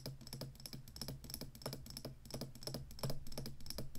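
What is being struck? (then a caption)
Plastic joystick controller. Long fingernails tap the tall plastic stick and scratch the ridged, hollow base of a black plastic Atari joystick controller. The result is a quick, irregular run of sharp, dry clicks with bright edges over a low, hollow body, each dying away almost at once.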